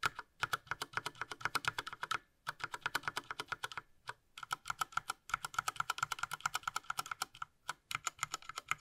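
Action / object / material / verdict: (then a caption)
tap / plastic mechanical keyboard / plastic / none. A gloved fingertip rapidly presses the right-side keys of a Ducky Mecha Mini Frozen Llama Edition, a small 60% mechanical keyboard with a light blue plastic case and plastic keycaps, lying flat. The result is a fast, steady run of crisp, dry plastic clicks with a bright tick near 1.3 kHz, broken by brief pauses around 2.3 and 4 seconds.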